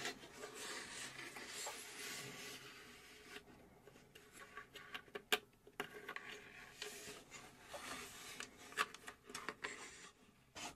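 Long acrylic nails scratch the back panel of a hollow plywood puzzle safe box model, whose door is later opened. The sound is a soft, bright, dry rasping with quieter stretches and a few sharp clicks, with almost no low end.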